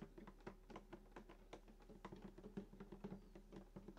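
Fingertips tap and patter on the top around the bridge of a full-size sunburst acoustic guitar with a hollow wooden body and glossy finish. The result is a quiet, irregular stream of soft, dull taps, each with a brief low, hollow resonance that dies away quickly.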